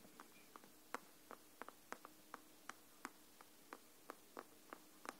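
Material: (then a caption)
Cardboard, paper. Long nails tap and scratch the side edges and cover of a large, solid hardcover paper book held at both ends. Sixteen quiet, short, dry taps land at an uneven, unhurried pace, each a crisp mid-pitched click that dies away almost instantly. A faint steady hum runs underneath throughout.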